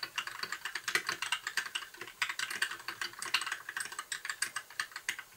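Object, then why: Mechanical keyboard with plastic keycaps. Fingertips of both hands type on a compact white plastic mechanical keyboard with plastic keycaps and blue backlight. The result is a steady, fast stream of short, bright clicks that die away almost at once, with no low thump underneath.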